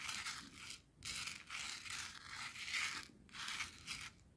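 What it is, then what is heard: Coarse salt crystals scraped on plastic. A thin wooden skewer rakes and scratches through a pile of clear, coarse bath salt grains on a white plastic cutting board. The result is a dense, bright, gritty crunching and scraping with almost no low end, coming in sustained strokes broken by brief pauses.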